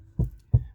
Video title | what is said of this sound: Sound Proofing (23) - Rear Door Panel Skin and Wiring - Main Cabin Part 2 | a lot more solid than it did before